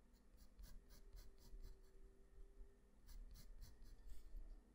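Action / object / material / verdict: scrape / graphite pencil on a sheet of drawing paper / paper / none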